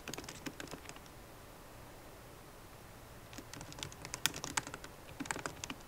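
Fast typing with long nails and fingertips on a MacBook Pro keyboard with plastic keycaps in an aluminum body gives quick, bright, dry taps and clicks. A burst of typing is followed by a quiet pause of about two seconds, then a longer, slightly louder flurry of taps.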